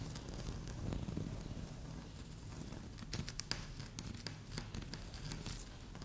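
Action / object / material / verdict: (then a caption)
scrape / laminate tabletop / laminate / none. Long fingernails on both hands scratch quickly across a flat, solid, speckled beige laminate tabletop, making a soft, low scraping rustle. Sharp, bright ticks and crackles cluster in the second half.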